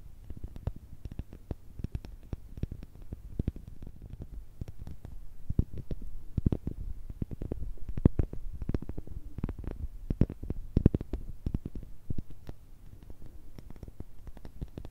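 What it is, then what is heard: Pumice stone. Long red nails tap and scratch a palm-sized, solid, porous grey pumice stone. The result is a quiet, steady stream of rapid, dull, low thuds with short, dry scratchy clicks. Each tap dies away almost instantly, with little brightness.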